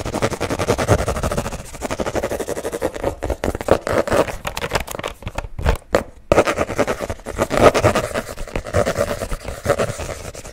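Fingernails rapidly tap and scratch the printed cardboard cover of a small spiral-bound paper notebook held close to the mic. The result is a dense, fast patter of dry, short clicks and scrapes centered in the low-mids, with little high end. The activity thins into a few sparse taps around the middle before picking back up.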